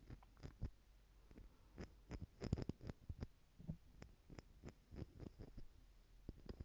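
Small clear plastic stacking jars, partly filled with gold glitter and held in one hand, have their lid tapped with long nails. The result is a quiet, irregular series of short, dull taps with a low, soft thud, little ring, and light clicky edges.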